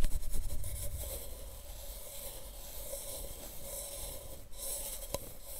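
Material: Plastic.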